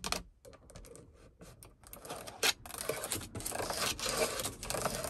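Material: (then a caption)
Hard plastic. Long acrylic nails tap and scratch a hard grey plastic overhead light console on a car ceiling, a hollow moulded panel with light lenses and a sunglasses holder. Sparse, sharp clicking taps at first give way to denser, bright scratching that grows steadily louder toward the end.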